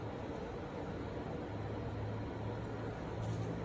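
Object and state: Nothing is struck.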